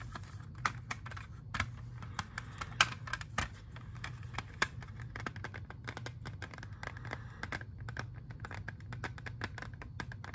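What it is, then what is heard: Plastic CD jewel case. A clear, hard, hollow plastic CD jewel case, hand-sized with a disc inside, is held in both hands and tapped and scratched with fingernails. Quick, dry, bright clicks and ticks come in a dense, uneven stream over a steady low hum, each dying away almost at once.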